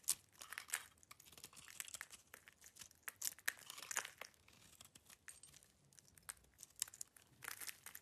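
A solid cream-colored bar of soap with black rind remnants is held in the hand and scraped with a metal knife blade, shaving off curls of soap. The scraping makes a rapid series of quiet, crisp, bright crackles and crunches that die away almost instantly, with almost no low end.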